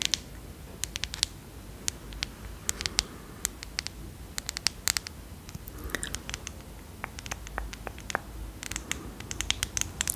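Long nails tap and scratch a small, partly filled amber glass dropper/pump bottle with a black cap, working over both the glass body and the ridged cap. Many quick, dry clicks come in uneven bursts over a low, steady background hiss, with bright, sharp ticks that stop almost at once, mixed with short scratchy scrapes.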